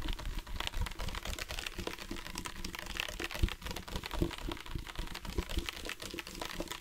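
Fingertips and nails tap rapidly on a dark plastic sports water bottle with a loop cap, hollow and partly filled with water. The result is a dense, steady patter of quick, dry clicks with a soft, low hollow thump beneath them and bright nail ticks on top. Each tap dies away almost instantly.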